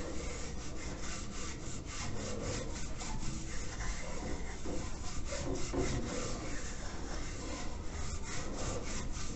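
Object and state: Clay water filter.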